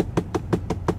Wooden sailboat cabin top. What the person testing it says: looks visibly okay but again you can hear that very hollow sound